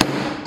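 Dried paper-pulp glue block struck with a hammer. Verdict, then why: Solid. A hammer strikes a solid block of dried, hardened paper-pulp glue, giving a single short, muffled thud with a brief ring around 300 Hz and a sharp transient at the start and end. The block stays stable and shows only a few light dents.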